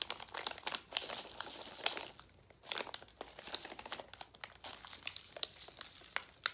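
A full pink Nerds plastic foil candy pouch is handled and tapped with fingertips. Dense, bright crinkling comes in quick, dry bursts with brief pauses, with almost no low end and no ring.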